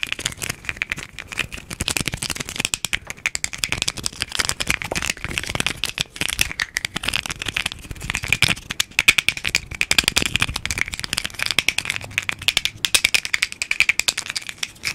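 A small hollow red plastic capsule, held in both hands close to the mic, is tapped and clicked rapidly with fingertips and nails and shaken so it rattles. The result is a dense, continuous stream of short, dry, bright clicks with a steady tone around 2.4 kHz and almost no low end, briefly easing in places before picking back up.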